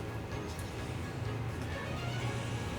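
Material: Nothing is struck.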